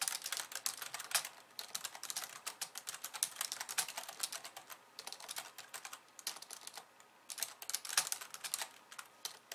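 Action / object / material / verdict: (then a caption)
tap / plastic computer keyboard / plastic / none. Long nails type fast with both hands on a slim pink plastic keyboard with white keys, making dense, bright clicky tapping with almost no low end. The typing comes in bursts, with brief quieter lulls around the middle and again near seven seconds before a final flurry.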